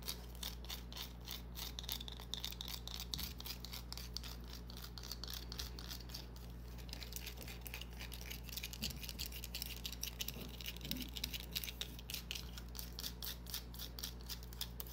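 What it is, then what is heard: Bar of soap, scratched and tapped. Long dark-painted nails scratch and tap a small solid green bar of soap held in a palm. The result is a quiet, steady stream of crisp, bright clicks and scratchy ticks that die away almost instantly, over a constant low hum.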